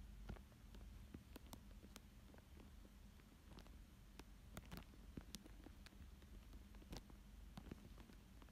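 A thin dark tool traces and scratches across a thin clear plastic sheet lying flat over a paper drawing of a fish. The sound is quiet: soft crinkles and scattered sharp, bright scratch clicks over a steady low hum.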